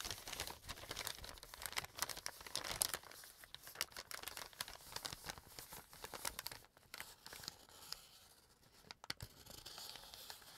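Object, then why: Small kraft paper bag. Fingers fold and crumple a small brown kraft paper bag. Dense, bright crinkling and tearing-like rustles run throughout at a soft level, with brief quieter gaps between bursts of crackling.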